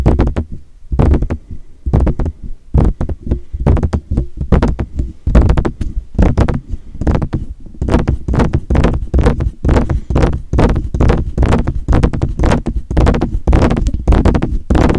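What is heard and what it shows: Fingertips tap on the hollow metal body and mesh grille of a silver metal USB desktop condenser microphone. The taps come as dull, boomy low thumps with very short decay, in an irregular stream of quick taps with brief pauses throughout.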